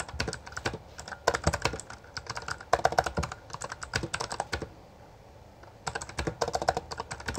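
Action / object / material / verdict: tap / plastic mechanical keyboard / plastic / none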